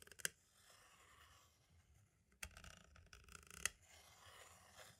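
A pointed tool tip taps and traces near the top edge and right corner of a small, hollow white plastic audio cassette shell. Sharp, bright clicks stand out over quiet, hissy scratching and scraping, with little low end.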